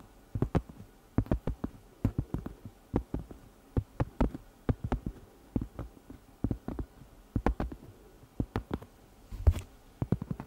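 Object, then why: Cork trivet. A round, flat, solid cork pot holder about 20 cm across is held in the hand while long red nails tap and scratch its surface. A rapid, irregular series of soft, dull, low taps comes through, each dying away almost instantly with no ring, with faint scratchy rustles between them.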